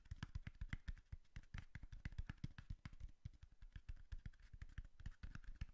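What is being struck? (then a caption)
Cardboard box. Fingertips and nails tap a tall, hollow brown cardboard box held in the hand, producing a rapid, uneven series of dull, low thumps with faint bright clicks on top. Each tap dies away almost instantly, leaving short gaps of quiet between the hits.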